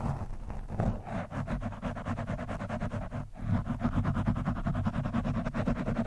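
An orange, soft, porous foam windscreen on a microphone is scratched and poked with the thin steel shaft of a screwdriver. It makes a dense run of rapid, uneven scratching and scuffing with a deep, muffled low end and no bright highs. There is a brief pause around the middle before the scratching resumes steadily.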